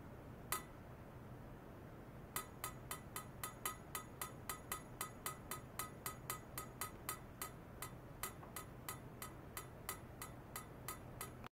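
A long stainless steel pipe, about 3 cm thick and likely hollow, rests on foam-net supports and is tapped near its middle with a thin metal rod. A single tap sounds first, then after a pause a rapid, steady run of about 30 more taps follows. Each tap gives a short, ringing metallic clink around 1.3 kHz with bright high overtones, over a constant low background hum.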